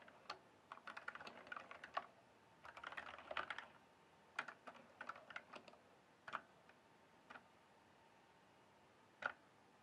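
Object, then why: Plastic mechanical keyboard keys. Fingertips press and tap single keys on a full-size RGB-backlit mechanical gaming keyboard with plastic keycaps, producing short, sharp individual clicks. Some clicks come in quick clusters and others stand alone with pauses between them. Each click is bright and dies away almost instantly over a quiet background with almost no low end.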